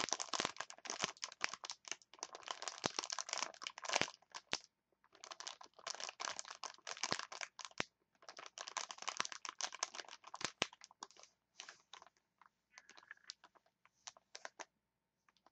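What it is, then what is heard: Plastic chopstick package. A clear plastic blister package holding wooden chopsticks is held up, squeezed and scratched with long nails. The result is dense, bright crinkling and crackling with almost no low end, coming in bursts separated by brief pauses and thinning into sparse clicks toward the end.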